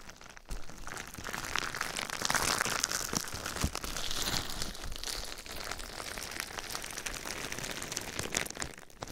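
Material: Plastic.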